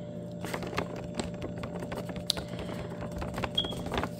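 Long painted fingernails tap a full, sealed plastic bag of frozen mussels resting on a wooden table, producing eleven short, crisp clicks with bright crinkly edges. The taps stop instantly with no ring, over a faint steady background hum.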